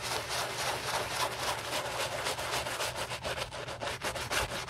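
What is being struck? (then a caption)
Leather sneaker scrubbed with a bristle brush. A white Gucci Ace leather low-top sneaker, covered in soap foam and resting on a towel, is scrubbed back and forth with a wooden-handled bristle brush held in gloved hands during a restoration. The rapid, fairly regular strokes make a steady, bright, scratchy swishing with a faint low hum underneath.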